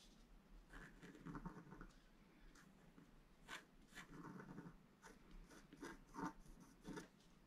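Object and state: Scratch-art paper being scratched.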